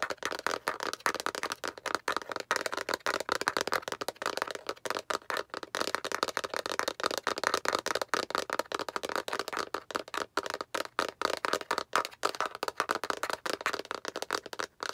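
Long acrylic nails tap and scratch quickly along the surface of a hand-sized, hollow, translucent yellow-green plastic egg-shaped capsule held upright in both hands. The result is a steady 15-second stream of rapid, dry plastic clicks and scratchy rattles. It is centered in the midrange with no low end, and each tick dies away almost instantly.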